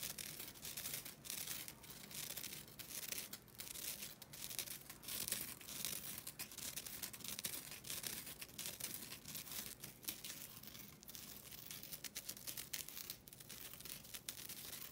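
A flat, thin and solid green nylon scouring pad, a synthetic abrasive pad, is held in both hands and scratched with long glossy nails. The result is a quiet, continuous, bright scratchy rasp made of dense, rapid strokes, with little low-end and brief pauses between passes.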